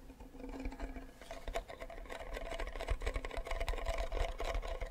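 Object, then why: Wooden ukulele body. Fingernails scratch and fingertips tap the back and side of a hollow wooden ukulele body with a flower sticker. Quick, dense, uneven taps and scratches run together over a low hum, with a faint tone near 676 Hz and short dry decays.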